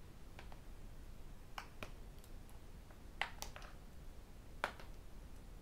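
A tablet with an aluminium back and a glass screen has its screen and edges tapped with fingertips and metal rings. The result is quiet, sharp, bright clicks spaced irregularly over a low, steady background hum, with a few louder taps standing out.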